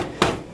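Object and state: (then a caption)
Solid aluminium laptop lid. Two knocks on the aluminum lid of a Dell Vostro 3555 laptop produce short, dull taps with a midrange body and a brief ring. The lid sounds very solid, with no flex.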